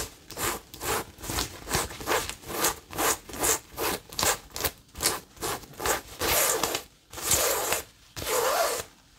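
A cream-coloured printed cotton fabric tote bag is handled and scratched with long nails. Quick, bright rasping strokes come in a rapid, uneven rhythm with some fabric rustling, then stretch into a few longer continuous scratches near the end.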